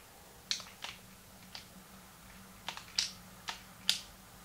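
Fingertips click the plastic buttons of a small, hollow, translucent pink plastic Game Boy Advance held in both hands. Eight short, bright, dry clicks come at uneven intervals against a quiet low hum, each stopping almost instantly.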